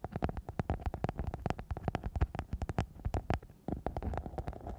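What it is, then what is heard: Glitter foam sheet. A flexible, thin, soft silver glitter-covered foam sheet wrapped over the microphone is scratched and rubbed with long nails and fingertips. It gives a fast run of low, muffled crackling scrapes and thumps, with a brief pause before the rubbing resumes.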